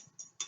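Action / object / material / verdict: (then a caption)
tap / metal spoon / metal / none. Two light taps on a hard metal spoon give short, bright metallic clicks that fade almost instantly. The second tap is a little louder than the first, and the sound carries no low-end body.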